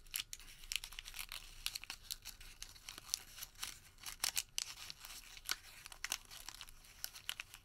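A white thermal paper receipt is squeezed into a small wad and rolled between the fingertips, giving a quiet, continuous crumple and crinkle. Bright, dry crackles and sharp snaps cut in irregularly over a soft papery hiss, with almost no low end and no ring after each snap.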